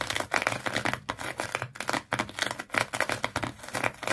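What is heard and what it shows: Long fingernails scratch rapidly across the coils of a small fish-shaped pet toy, likely solid, tightly wrapped in multicolored twisted sisal/jute rope. The result is a dense run of dry, crackling scratches with bright, papery texture, strongest around 2 kHz, in quick bursts that stop short with almost no ring.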